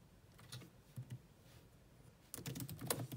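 Long nails tap sparsely on the black plastic chiclet keys of a grey laptop keyboard, with the hands resting on the keys. A few isolated, soft clicks come first, then a quicker burst of taps near the end, each a short dry click with a low thud and a bright edge that dies away almost at once.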